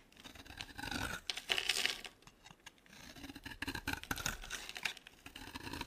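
A utility knife blade shaves thin strips from a dry, solid oval green soap bar held in the hand. Bright, dry scraping and cutting strokes come in rasping bursts, with short quiet pauses between them.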